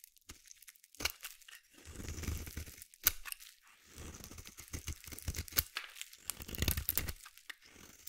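A small metal blade carves flaky white shavings from one end of a palm-sized solid white bar of soap held in the hand. Quiet, crisp scraping and crunching strokes come in short bursts, each with a soft low rumble under a bright, papery rasp. Brief sharp clicks pop out between the longer shaving passes.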